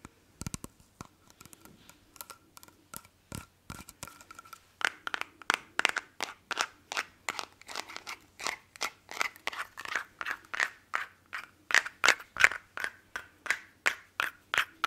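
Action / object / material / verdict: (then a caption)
tap / small glass perfume bottle / glass / none. Fingernails tap and scratch a small hollow square glass perfume bottle held in both hands. They make a rapid, uneven run of short, bright clicks with a faint glassy ring near 1.7 kHz. The tapping is soft for the first five seconds, then grows louder and steadier to the end.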